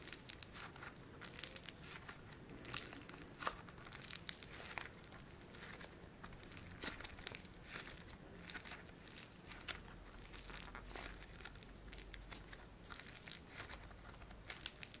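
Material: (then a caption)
Foam beads. A palm-sized, solid sheet of pink foam-bead clay (floam) is pinched, pressed and stretched with thumbs and fingertips. It gives off a steady stream of quiet, bright crackling and crinkling, with dense tiny pops and snaps that die away instantly.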